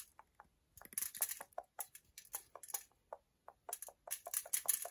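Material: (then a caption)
Chocolate. Long nails scratch hard across the back and edge of a solid milk chocolate bar, raising shavings. The result is a quiet, rapid run of dry, bright scraping strokes in uneven bursts, each cutting off sharply with no ring.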